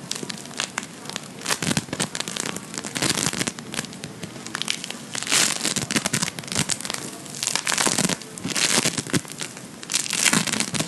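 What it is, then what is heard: Bead foam modelling compound. A hand-sized solid lump of blue Playfoam, foam beads in a sticky binder, is squeezed, kneaded and pulled apart by fingertips and nails. It gives a dense, bright crackling and crinkling, coming in louder bursts that rise and fade over about eleven seconds.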